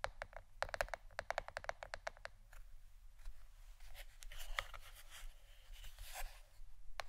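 Fingernails tap a plastic board shaped like a shirt, producing a quick run of sharp, dry clicks with almost no ring and a mid-pitched knock. The taps then soften into a quieter, scratchy patter of lighter nail strokes across the board, with a few brighter clicks near the end.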